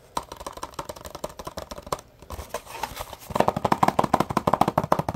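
Fingertips and nails tap and scratch a small, hollow printed cardboard box with an open flap. Light, quick taps give way to a short stretch of scratching, then a louder run of dense, hollow-sounding taps with a papery midrange thump.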